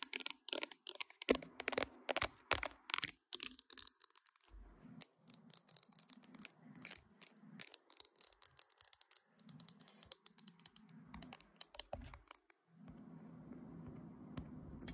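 Long nails tap quickly on the matte glass back and along the edges of a smartphone held in a tripod clamp, making sharp, bright clicks. The taps are dense and fast at first, then thin out into quieter, softer scratching and rubbing with scattered clicks. The clip ends in a steady, continuous scratch.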